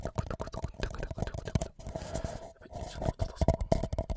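A tall, empty white paper cup sits upside down over a microphone while both hands tap and scratch its sides with fingertips and nails. The result is a dense run of close, low, hollow thumps mixed with softer scratching, with short pauses in between. The hollow cup rings with a steady resonance around 650 Hz.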